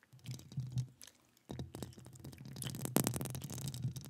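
Long acrylic nails scratch and tap the hollow metal mesh grille of a standing microphone held in one gloved hand. It makes a close, low, rumbly scratching with bright crackly edges, which pauses briefly and then returns denser, with a sharp louder tap near the three-second mark.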